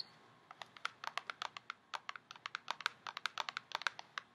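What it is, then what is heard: Cardboard cosmetics box tapped with nails. A tall, narrow printed cardboard box for a COOLA setting spray, hollow with the product inside, is held in hand and tapped with long painted nails. About 27 quick, light, dry clicks come in an uneven rhythm, crisp and bright with no ring. The hollow box gives each tap a soft, papery knock.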